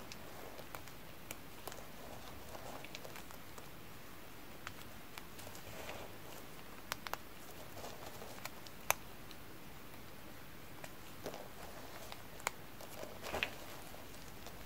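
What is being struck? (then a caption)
Crumbled bar-soap flakes. A blue nitrile-gloved hand presses, squeezes and crushes a heap of crumbled dry bar-soap chips in cream and pink piled in a yellow container. The result is soft, crunchy rustling with scattered sharp, dry crackles over a quiet, low background.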